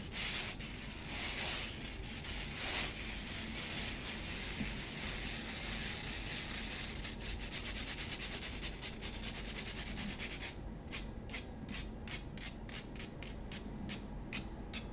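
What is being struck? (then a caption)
Stainless steel wire-mesh strainer. A stainless steel wire-mesh strainer is rubbed and scratched with fingertips and nails. It makes a continuous bright, hissing scrape for about the first ten seconds. After that the sound turns into a series of short, separate high scratching strokes.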